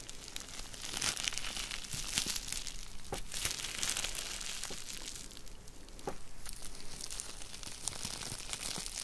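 A rolled tube of clear plastic bubble wrap is twisted and crushed between the fingertips of both hands. A steady, bright crinkling runs throughout, broken by sharp popping clicks, with a brief dip in the crinkling just before six seconds.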